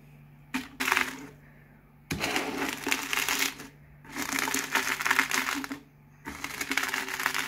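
A hand rolls a cardboard Pringles can back and forth across a pile of crisp potato chip pieces, crushing them finer. It makes four bursts of dense, bright crackling and crunching, separated by short pauses, over a faint steady low hum.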